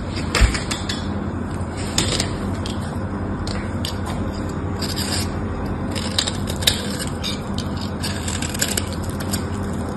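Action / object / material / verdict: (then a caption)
scrape / bar of soap / soap / none. A craft knife scores and scrapes the surface of a solid mauve bar of purple soap with a net pattern, held in the hand. A steady, gritty scraping runs throughout over a low hum, broken by sharp, bright crackles and ticks as the blade cuts.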